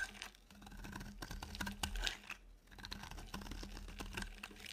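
A utility knife blade shaves a solid, dry, pale yellow oval soap bar. Dense, rapid dry crackling and scraping ticks run throughout in short bursts, with bright crisp edges over a steady low hum.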